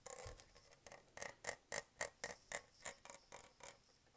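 Fingernails scratch and tap across the raised grid texture of a dark metallic-green Starbucks tumbler made of hollow plastic, held in hand with its lid and straw on. About fifteen quick, bright, clicky taps come in a loose rhythm with a faint scratchy rasp between them. Each tap stops almost instantly with no ring, and the whole clip stays quiet.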